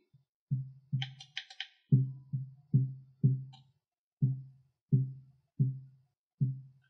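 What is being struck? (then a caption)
Wooden guitar top soundboard. A wooden guitar top soundboard is tapped repeatedly, giving a series of short, dull, low thuds centred near 130 Hz that die away quickly, with a brief burst of higher clicking early on. The top's tap tone measures C3 plus 12 cents, the note it is currently tuned to.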